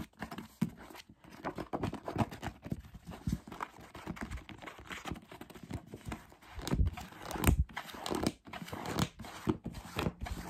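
Fingertips tap the glossy paper cover of a thick paperback novel, then tap and riffle its paper page edges. The result is a fast, irregular run of short, dull, low thumps mixed with soft papery rustling and flutters that swell and fade.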